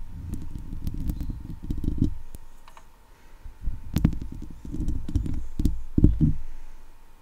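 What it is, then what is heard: Metal mesh microphone grille. Long acrylic nails and fingertips scratch across a hollow steel wire-mesh microphone head, producing dense, boomy low scraping in several bursts broken by brief pauses. Sharp clicks and faint bright ticks punctuate the rustling, with a steady faint tone underneath.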